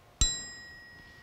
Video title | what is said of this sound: WWI Pritchard Bayonet for the Webley Revolver | it gives a really nice uh bright ring and most of the reproductions will give a nice dull thud or clunk